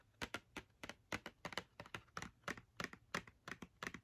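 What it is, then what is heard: Cardboard marker box. Long red nails tap rapidly on the front face of a small, hollow Crayola cardboard box of 10 markers, filled with markers and held in one hand. About 21 quick, quiet, dry clicks come in an uneven rhythm, each bright and papery with a center near 2 kHz and almost no ring.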